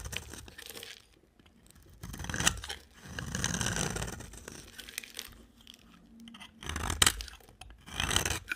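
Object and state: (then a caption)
Dry soap bar being scraped. A box cutter blade scrapes and shaves the end of a solid green, rectangular, palm-sized dry soap bar held in a hand with long dark nails. Bursts of dry, bright scraping and crunchy shaving come in uneven strokes, separated by short quiet pauses.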